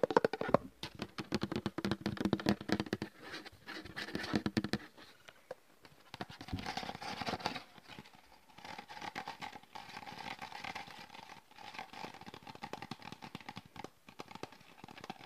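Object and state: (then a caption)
Plastic gel bottle. A medium-sized, partly filled translucent plastic hand-gel bottle with a red cap is held close to the microphone and tapped and scratched with fingertips and nails. Rapid, crisp plastic taps patter in dense bursts. Later they give way to steadier, hollow scratching with a faint tonal ring.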